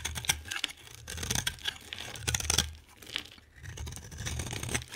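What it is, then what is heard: Bar of soap being shaved. A solid, hand-sized green bar of soap is shaved into flakes with a utility knife blade. Dense, bright scraping and crinkly tearing sounds come in rapid, uneven strokes. A low rumble sits underneath.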